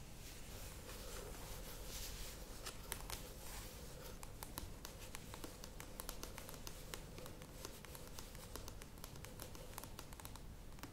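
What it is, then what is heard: Plastic yogurt tub. Long nails tap the sides of a standing, medium plastic yogurt tub, making a steady stream of quiet, bright, clicky taps over a low background rumble. The hands move away near the end.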